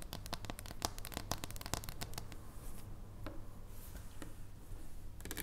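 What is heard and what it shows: Long nails tap and scratch on the flat back and edge of a solid dark chocolate bar held in the hands. Quick, dry, bright clicks come thick and fast at first, thin out with soft scratching in the middle, and cluster again at the end over a steady low hum.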